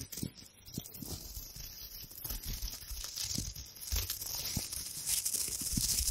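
A hand-sized, crumpled gold metallic foil wrapper is scrunched and crinkled with long nails beside the mic. The result is a dense, bright, continuous crackling and rustling with soft low thumps underneath, growing slightly louder toward the end.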